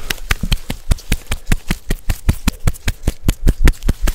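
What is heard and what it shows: Fingertips and nails scratch and rub the rough, furrowed bark of a large, solid living tree trunk right beside a close microphone. About 23 dull, low-heavy bursts come in a loose, uneven rhythm, each dying away almost at once with no ring.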